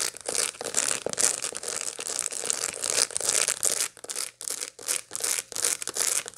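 Long light-blue nails scratch over the seed surface of a large dried sunflower head, held in both hands, with its seeds still packed in the disc and green bracts around the rim. The strokes make dry, bright crackling and crinkling scratches in irregular bursts, about two to three per second, with brief quiet gaps in the later part.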